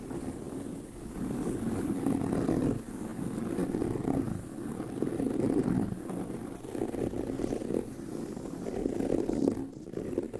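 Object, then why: Pebbled leather handbag. Fingernails scratch the pebbled surface of a tan leather handbag with a hollow bag body, making a continuous dry, low-mid rasping scratch. The scratching swells and fades in uneven bursts, with the energy sitting mostly in the low-mid range and almost nothing bright.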